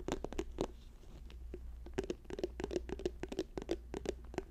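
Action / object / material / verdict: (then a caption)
tap / plastic tube / plastic / none. Fingers tap rapidly on a plastic tube, producing a stream of short, dry taps with a hollow resonance in the low-mid range. The taps come in uneven bursts over a steady low hum, each dying away almost instantly.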